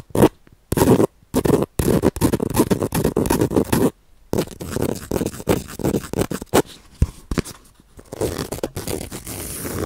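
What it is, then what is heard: Bamboo-sheath baren. A round bamboo-sheath baren, a woodblock printing pad, is held beside the mic and rubbed and scratched with fingertips and nails across its fibrous surface and edge. The sound is a close, dry run of scratchy rasps and short scrapes, mostly low-mid and full-bodied. It comes in bursts separated by brief silences, then settles into a steadier, softer scratching toward the end.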